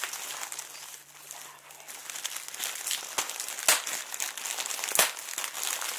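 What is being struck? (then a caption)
Plastic bubble wrap sheet. A large sheet of clear plastic bubble wrap with air-filled bubbles is crumpled and scrunched with both hands and fingertips. Steady, bright, high-pitched crinkling runs throughout, broken by a few sharper snapping crackles.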